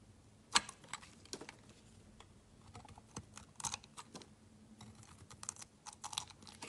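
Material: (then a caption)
Glycerin soap. A metal blade shaves and cuts slivers off a solid, translucent yellow glycerin soap bar, making a quiet series of short, crisp, bright scraping clicks with a soft crunch. The cuts come in irregular bursts over a faint low hum, and each one stops almost instantly.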